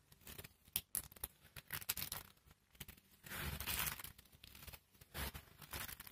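A pile of pale pink dry soap shavings and flakes, solid and brittle, is rubbed and crushed between fingertips and palms. Sharp, bright crunches and crackles come in quick bursts, with a longer, dense crushing stretch around three to four seconds and another near five seconds. The result is a crisp, dry crumbling texture with quick decays.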